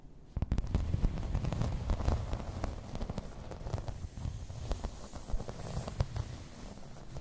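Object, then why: Embossed plastic placemat. Long red nails scratch and tap across a grey embossed plastic placemat lying flat. The result is a dense, low, rumbling scrape broken by many quick, dry taps that stop short with almost no ring.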